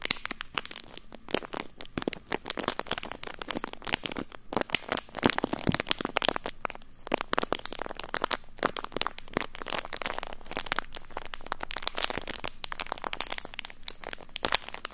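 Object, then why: Thin plastic bag. Fingers squeeze and crinkle a thin, empty, clear plastic bag right next to the microphone capsules. A dense, continuous stream of sharp crackles and crunches runs the whole time. The sound is bright and broadband, with very short, dry snaps that leave no ring.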